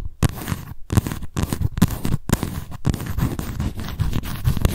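Long nails scratch the raised lettering on the white embossed cardboard cover of a paper notebook. Repeated dry, scratchy strokes come in bursts separated by brief silent gaps, with rough, low-heavy scraping texture throughout.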